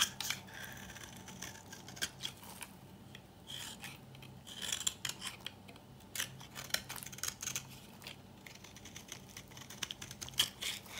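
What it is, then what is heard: Dry bar soap scraped with a knife. A metal knife repeatedly scrapes and cuts into the edge of a dry, old, palm-sized solid pink soap bar held in a hand, crumbling it into flakes and dust. The sound is a steady run of crisp, bright, dry scratching strokes with quick rasping bursts, almost no low end, and no ringing after each stroke.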